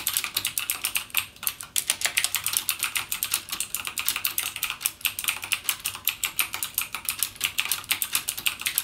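Fingertips type rapidly on a backlit mechanical gaming keyboard with plastic keycaps and Cherry MX Blue switches. A steady stream of bright, crisp clicks with almost no low end follows one after another, each click short and quick to die away.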